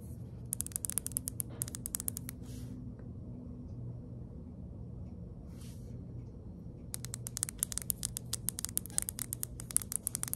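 A small, hollow white-and-orange plastic Neutrogena serum pump bottle is held and tilted while long acrylic nails tap and scratch it. Quick runs of sharp, bright clicks come early and return densely near the end, with a quieter stretch of soft swishes between. A steady low hum runs underneath throughout.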